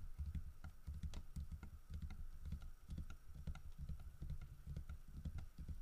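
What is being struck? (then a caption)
Carved wooden figurine. Fingertips tap repeatedly on the side of the body and head of a large, solid carved wooden bear figurine holding a fish. The result is a quick run of soft, dull, low knocks with very short decay and clicky high ticks over a faint steady hum.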